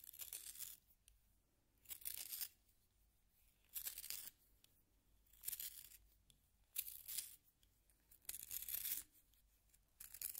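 A solid yellow wooden pencil is turned in a small pink plastic hand sharpener held in the fingers, its blade shaving the wood. Seven bright, dry, rasping bursts of scraping come in irregular turns, separated by near-silent pauses.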